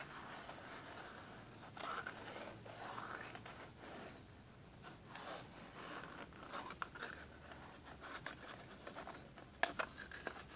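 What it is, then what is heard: Cardboard product box. A small, hollow, rectangular black and red printed cardboard product box is held and then set on a table while fingertips and nails tap and scratch its sides and edges. The sound is a quiet, continuous papery scratching and rustling with soft, short taps scattered throughout. Sharper clicks stand out near the end.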